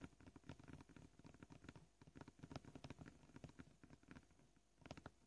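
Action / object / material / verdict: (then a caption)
tap / plastic cutting board / plastic / none. Short polished fingernails of both hands tap quickly across a flat, scratched, solid white plastic cutting board. The result is a dense, uneven patter of soft, dull clicks with a low body and little brightness, easing into a brief lull before a final flurry.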